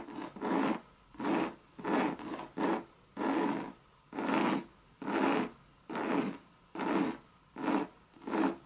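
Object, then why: Coated canvas bucket bag. Long red nails scratch the sides of a hollow Louis Vuitton Monogram coated canvas bucket bag. Twelve rasping, scraping strokes are heard, each lasting about half a second, coming at an uneven rhythm with short silent gaps between them. The sound is breathy and mid-range with a hollow body.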